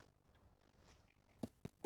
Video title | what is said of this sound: Big Cook Little Cook Hatty The Hedgehog | You can tell it's cooked because it sounds hollow. Yeah, that sounds just about right. Nice and hollow.